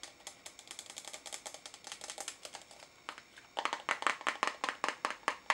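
Fingernails tap rapidly on the walls and lid of a small pink translucent plastic tub with a lid, full of pink noise putty and held in both hands. The taps are short, dry and bright, with no low end. They run softly for the first few seconds, then become noticeably louder and sharper from about 3.6 seconds on.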